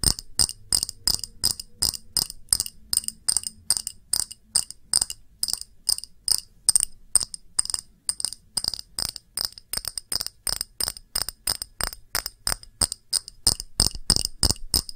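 Fingers tap rapidly on a variety of different glass objects, making a steady run of about 64 short, bright clinks. The taps come quickly at an uneven pace and die away almost at once, with most of the sound in a high, glassy ring.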